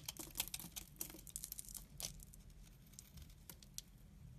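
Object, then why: Bar of laundry soap. A utility knife blade shaves thick curls from the top of a solid amber-brown laundry soap bar held in the hand. It makes quiet, bright, crackly scraping with rapid short ticks over a steady low hum. The clicks come densely at first, then thin out.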